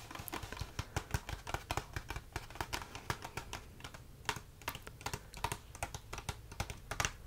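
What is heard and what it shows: A small, hollow rectangular cardboard tea box with a window, holding tea bags, is tapped and drummed by fingertips and short nails. It makes a steady run of quick, dry, hollow taps, each with a soft low thump and a bright clicky edge that dies away almost at once.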